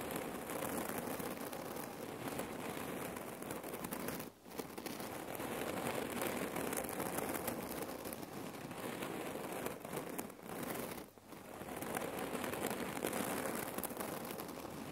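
Long nails rapidly scratch and pick at the fabric of a red cotton neck pillow filled with cherry pits. It makes a dense, continuous, crinkly rustling with a bright, grainy texture. The sound drops out briefly at about 4 and 11 seconds before resuming.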